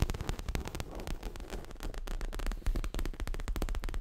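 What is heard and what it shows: Fingernails tap and scratch quickly along the sides and front of a stuffed, dark grey leather throw pillow. The result is a dense, irregular patter of soft, deep thuds with short, dry scratching in between.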